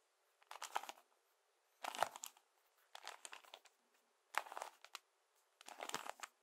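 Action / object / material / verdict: tap / plastic toy-brick puzzle cube / plastic / none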